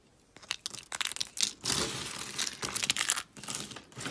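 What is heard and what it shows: A hand with long nails squeezes and crumbles a handful of pastel dry soap shards. The result is a run of dry, bright crunching and crinkling bursts, with a sustained grinding crackle in the middle and very little low end.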